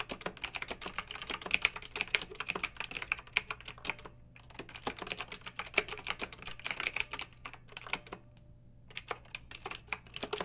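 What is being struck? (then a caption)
Plastic mechanical keyboard with round keycaps. Fingertips and long nails type with both hands on a pink backlit plastic mechanical keyboard with round plastic typewriter-style keycaps. A rapid stream of short, bright, clacky keystrokes plays with brief pauses near four seconds and around eight to nine seconds. Each tap dies away almost instantly over a faint steady low hum.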